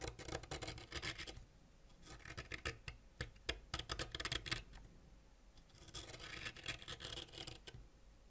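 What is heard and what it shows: A white ceramic knife scrapes a solid purple wax crayon held in the fingers down to fine wax dust. Rapid, bright, raspy scratching comes in three bursts with quieter pauses between them.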